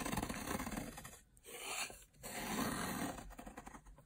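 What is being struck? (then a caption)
Soap bar cut with a metal blade. A metal blade slices crunchy layers off the top of a long, blue, dry solid soap bar lying on a table. Three bursts of dry, gritty crunching and scraping are separated by two brief pauses, with bright crackle over a low grinding body.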